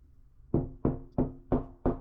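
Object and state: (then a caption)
Solid wall stud behind drywall. Five knocks on drywall over a wooden stud, done instead of using a stud finder to locate the stud by sound. Each is a dull, short thud with a low-mid tone around 250 Hz that dies away quickly, with no bright or high ring. The knocking finds a solid wooden stud behind the drywall.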